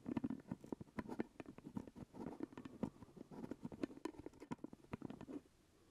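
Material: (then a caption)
Plastic. Fingertips and nails tap and scratch the purple plastic lid of a full glass jelly jar held close to the mic. The result is a quick, uneven run of soft, hollow taps with a low-mid body and short, dry scratches between them. The tapping stops just before the end, leaving a quiet hiss.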